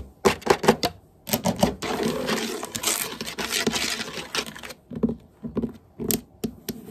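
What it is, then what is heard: Wooden floor. Long painted nails and the fingertips of both hands tap and scurry rapidly across solid hardwood floor boards. Quick clusters of sharp, bright clicks open the clip, give way to a continuous scratchy rush of scurrying, then return as short bursts of dry taps that die away almost instantly.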